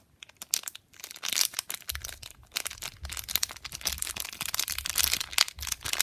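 A small, flat, pink metallic foil and plastic laminate Durex condom packet, sealed with the condom inside, is held between thumbs and fingertips and squeezed and crinkled. A dense run of sharp, bright crinkles and crackles continues throughout, with a faint low rumble underneath from about two seconds on. Other packets and boxes rest on the table untouched.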